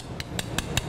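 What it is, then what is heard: Aluminum window frame tapped with a coin to check cement fill. During a new-home inspection, an aluminum window frame with cement fill behind it is tapped four times with a 10-dollar coin to check whether the cement is fully packed. Each tap is a short, bright metallic click that dies away almost at once, over a low steady hum.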